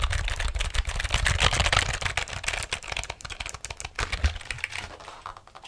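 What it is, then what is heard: Plastic computer keyboard being typed on. Fingers type and tap the keys of a black plastic computer keyboard held vertically near the mic. Rapid, irregular plastic clicks each carry a dull low thump and a bright, dry snap that stops almost instantly. The tapping is dense at first, then grows sparser and softer toward the end.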